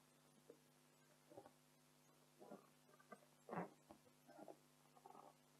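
Long decorated acrylic nails of both hands scratch and tap an inflated pink printed latex balloon, hollow and air-filled. Quiet, muffled rubbery squeaks and soft taps come in short bursts over a steady low hum, the loudest a brief rubbery squeal near the middle.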